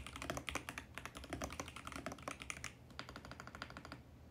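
Fingertips type rapidly on a compact 65% VGN X68 mechanical keyboard with purple, mint and pink plastic keycaps and a mint plastic case, resting on a white desk. A dense stream of short, bright plastic clacks with a low thocky body patters steadily. After a brief lull near the three-second mark, the typing resumes slightly softer.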